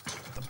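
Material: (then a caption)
Bread. Two hollow taps on the base of a loaf of damper (bush bread), checking whether it is baked through. The dull, low knocks fade quickly, and the hollow sound shows the bread is done to perfection.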